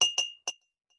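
A stick taps a drinking glass holding only a little red-colored water, the lowest level, three times. Each tap gives a bright glassy clink ringing near 2.8 kHz that fades quickly. The low water level sets the pitch, since more or less water changes the sound.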